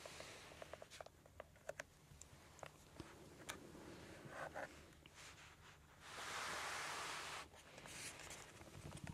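Long red-painted nails tap on the surface of a small, transparent, flexible PVC/vinyl makeup pouch with gold dot studs, held in both hands, hollow and apparently empty. Quick, light, irregular clicks with almost no ring are heard, joined midway by a sustained bright, hissy crinkle before the tapping resumes.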